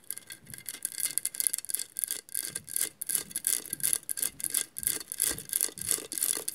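Long nails scratch across the textured mirrored glass tiles of a hollow glass mosaic vase. The result is a quick, uneven series of dry, bright scraping strokes, almost all high-pitched hiss with very little low end and no ringing after each stroke.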